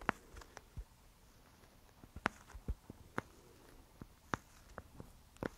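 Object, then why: Sealed plastic disk filled with gel water beads. Long nails tap and scratch across the face of a round, clear plastic sealed disk full of yellow gel beads, held close. Quiet, irregular, sharp clicks with a bright edge stand out over faint scratching, each dying away almost instantly.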